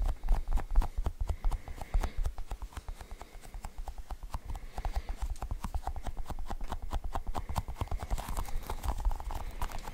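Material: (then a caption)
Rubber. A cluster of colored, sticky rubbery balls is held in both hands while fingers press into the balls and pull them apart. The result is a rapid, continuous run of short, dry sticky pops and clicks with heavy low-end thump. They stay fairly even in loudness throughout.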